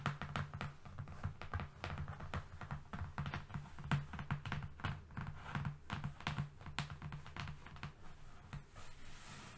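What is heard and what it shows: A long, flat, thin brown cardboard sheet resting on a fluffy rug is tapped with the long fingernails of both hands, moving along its length. The result is a quick, uneven stream of dull, low taps and thunks centered near 141 Hz, with soft clicky edges and almost no ring.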